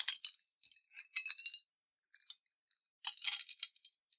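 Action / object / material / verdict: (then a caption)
shake / glass jar holding water and beads / glass / none. A clear glass jar with a silver lid, partly filled with water and beads, is turned and shaken in both hands with fingertips on the glass. Bright, quick clinks and rattles of the beads against the glass come in several bursts separated by brief pauses. The sound is all high-pitched with no low end, and each tick dies away almost instantly.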